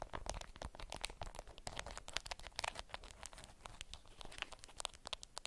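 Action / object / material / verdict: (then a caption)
scrape / beeswax-coated cotton wrap / waxed cotton / none. Long nails scratch and crinkle a wrapped bundle of beeswax-coated cotton fabric. A dense, continuous stream of sharp, bright crackles and dry scratches comes through with almost no ring, over a faint low rumble, and holds fairly steady throughout.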